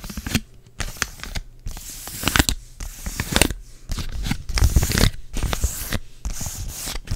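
A thin, flat yellow printed foil sheet mask packet labeled "Help me Honey" is held in both hands and scratched and tapped with long dark acrylic nails. The result is a series of short, bright crinkling, scratchy bursts with quick taps and almost no ring-out.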